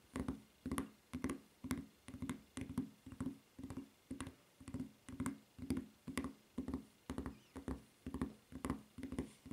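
Long nails tap and scratch the footbed of a white rubber flip-flop near its red strap. Quick clusters of soft taps and short scratches repeat at a steady pace of about two per second, with a dull, low-mid tone around 250 Hz and faint bright clicks on top.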